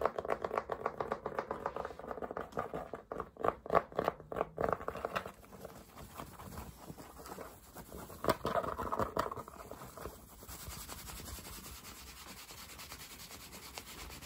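Fingertips rub and scratch the crown and soft brim of a dark Polo cotton baseball cap with a red logo, worn on the head. Fast, dense scratching and patting with a papery, mid-range rasp is loudest in the first five seconds, flares again near eight seconds, then settles into quieter, steadier rubbing to the end.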